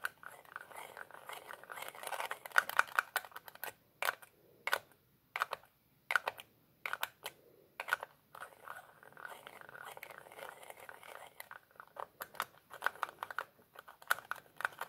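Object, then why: Small plastic bottle with plastic screw cap. Fingertips twist a black plastic screw cap on and off a small, hollow, empty-looking clear plastic bottle held in the other hand. The result is a quiet, dense run of fast, dry clicks and light scraping ticks centered around 1.5 kHz, with a few louder snaps and brief pauses between bursts. There is almost no low end.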